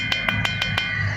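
A stone samadhi (memorial tomb) is tapped five times with a small stone, giving five sharp, bright knocks that ring out like a tabla drum over a steady low hum near 105 Hz. Unlike the ordinary stone beside it, this tomb resonates with a musical, drum-like tone.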